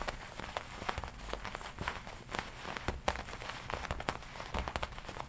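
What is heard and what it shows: Long nails tap and scratch the black leather front panel of a worn black and red studded leather biker jacket. The result is a quick, uneven run of short, dry clicks with scratchy rustling between them.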